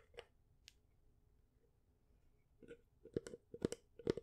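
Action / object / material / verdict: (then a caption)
tap / small wooden picture frame with glass / wood / none. Long nails tap the edges and face of a small, light wooden picture frame held up close, with a painting behind glass. A couple of isolated taps give way to a quicker, uneven run of short, dry taps with a hollow knock around 400 Hz and bright clicky edges. Each tap dies away almost at once, and the level stays quiet throughout.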